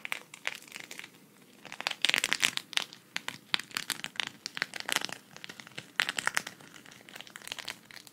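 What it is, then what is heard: Sequin fabric patch. A flat, thin, hand-sized green sequin cactus patch is held in both hands while long red nails scratch across it and flip the sequins. Dense, bright crinkling clicks come in quick irregular bursts, each tick dying away almost instantly, with little low-end body.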